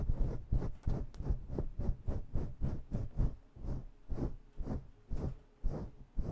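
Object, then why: Synthetic fur microphone windscreen. Bare long nails scratch intensely at a fluffy faux fur (synthetic-fur) microphone windscreen. The result is a rapid, uneven series of muffled rubbing and scratching strokes, heavy in low rumble with soft, airy highs.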